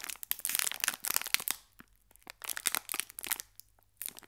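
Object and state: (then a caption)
Crinkled metallized plastic biscuit wrapper. A small, full green foil-plastic Gullón biscuit pack is held at both ends by the fingertips and crinkled and squeezed, while a second pack lies still beside it. Bright, crackly crinkling comes in dense bursts of sharp crackles, separated by two short near-silent pauses.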